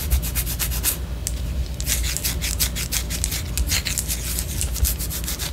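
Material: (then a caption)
Wax. A white solid wax pillar candle, held sideways, is scratched with long orange nails, giving quick repeated bright rasping strokes. A brief lull interrupts the scratching around one second in before it resumes. A steady low hum runs underneath throughout.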